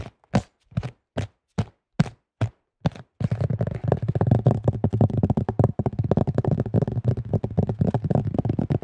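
Fingertips tap a thin-shelled beige plastic disc golf disc with a red stamp, giving eight separate dull, low, hollow taps with almost no ring. The tapping and gripping then speed up into a dense, continuous patter of quick plastic knocks.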